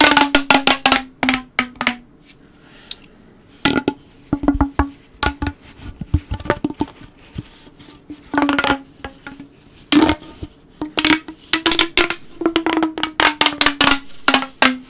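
A blue, hollow corrugated plastic pop tube is stretched straight between the hands, then bent while fingertips run along its ridges. Bursts of sharp, bright clicking and ratcheting come in quick runs, each over a steady hollow tone. Quieter gaps fall between the runs.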